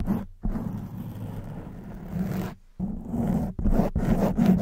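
Long white nails drag and scratch over the top of a black foam microphone windscreen, making a dense, muffled scraping and rustling with a low hum under it. The scratching comes in several strokes separated by brief silences, growing slightly louder toward the end.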